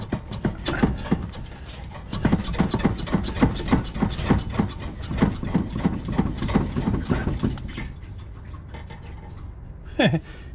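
A car's fuel tank is moved while work is being done on the exhaust, and the gasoline inside sloshes back and forth in a rapid series of low, rhythmic surges that fade near the end before one last sharp swish. The sloshing shows the tank still holds gasoline.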